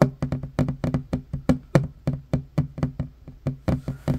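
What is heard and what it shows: A flat, solid wooden table top is tapped quickly with the fingertips and short nails of one hand. About 20 dry, woody knocks come in a fast, uneven rhythm, each with a low thud and a short crisp click that dies away almost at once.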